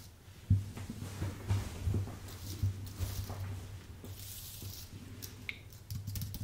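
Fingertips type on a white full-size Apple Magic Keyboard, its plastic keycaps set on an aluminium base. Irregular, short, soft keystrokes sound as dull, low-weighted taps with little high-end click. A steady low hum sits under the quiet typing.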